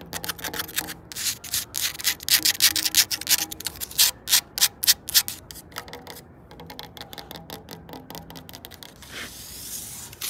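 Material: Wood.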